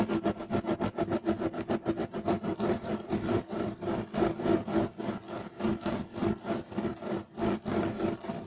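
Two hands rapidly scratch a beige striped loop-weave woven fiber carpet on the floor with fingertips and nails. The result is a fast, steady rhythm of dry, raspy strokes, about three per second, with a mid-range texture and a hissy high edge. There is no ringing between the strokes.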